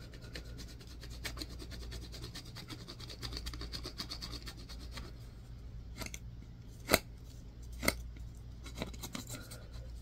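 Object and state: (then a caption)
Bar of soap being scratched. A solid white bar of soap is scratched with a yellow-tined tool on a wooden handle, making quiet, dry, rasping strokes over a steady low hum. The scraping runs fairly evenly for the first several seconds, then turns into sparser, sharper scrapes, with two louder, bright ones standing out near the seven- and eight-second marks.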